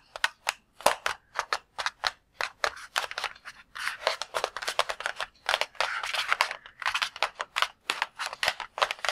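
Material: Latex rubber.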